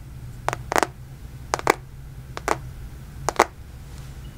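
A black smartphone in a plastic case is held close to the mic while fingertips and nails tap and scratch its back and edges. Nine short, crisp clicks and scrapes come in loose pairs, bright and dry, with no ring. A steady low hum sits underneath.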